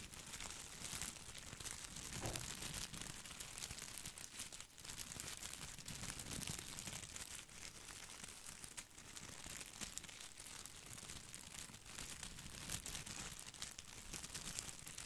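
A plastic artificial boxwood ball is held over the microphone while fingertips rub and scratch its plastic leaves. It makes a steady, quiet stream of bright, crinkly scratching and rustling, with dense tiny clicks and occasional soft low thumps from handling.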